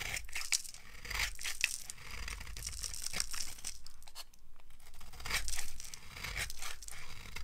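A small knife scrapes and shaves a solid green bar of dry soap held in one hand, carving off flakes and powder. The clip is a continuous run of dry, bright scratching and tearing strokes with brief crisp peaks and a low rumble underneath.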